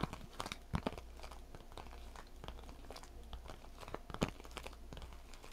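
A small, hollow, seemingly empty clear vinyl/PVC cosmetic zip pouch with blue trim is held in both hands, squeezed and scratched with long white nails. It makes a continuous run of soft, close crinkles and dry crackles, with a few sharper, louder snaps near the start and again around four seconds. A steady low hum sits underneath.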